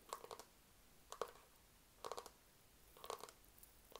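A white, hand-sized cloud-shaped lamp, likely hard plastic and probably hollow, is held near the mic and tapped and scratched with fingertips and nails. Short bursts of quick, dry clicky taps with a hollow mid-pitched knock come in about five clusters, roughly once a second, with bright scratchy edges and almost no ring. Faint hiss fills the quiet gaps between them.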